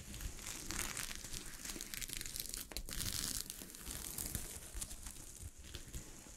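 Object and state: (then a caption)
Sequin-covered fabric. Long fingernails scratch across a sheet of fabric covered with small gold sequins, producing a steady, bright crinkling rasp with rapid scraping textures. Faster and slower strokes blend into a continuous rustle over a low, soft rumble.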